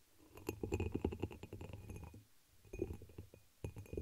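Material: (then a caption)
Glass. Long pink nails rapidly tap a dark red, embossed, hollow pressed-glass chalice held over the microphone. Quick clicky taps come in three flurries with short pauses between, each carrying a deep hollow thump and a faint bright glassy ring that fades almost at once.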